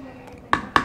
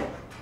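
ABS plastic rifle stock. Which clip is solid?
The first.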